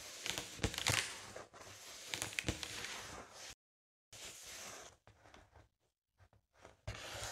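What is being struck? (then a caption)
Inflated foil mylar balloon. A large, hollow, inflated light-blue foil mylar star balloon is tapped with long nails, giving sharp, crinkly, papery taps. After a brief silence, it is scratched with a small plastic comb or rake tool, producing bright, rasping scrapes that come in short, uneven bursts.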